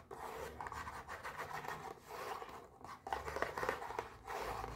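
A small pink printed cardboard mochi box, held in one hand, is rubbed and scratched with long nails, producing a steady, soft, dry scratching texture in the midrange. The scraping swells and dips in waves, growing louder near the end as the top flap of the box starts to be lifted open.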